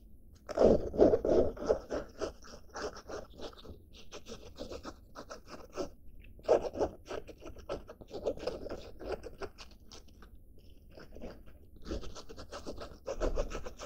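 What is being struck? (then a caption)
Denim fabric backpack. A blue denim-fabric backpack with grey straps is held up and scratched with black-painted nails across the fabric and straps. Quick, dry scraping and crunchy scratching strokes come in irregular bursts, loudest near the start, with quieter stretches in between.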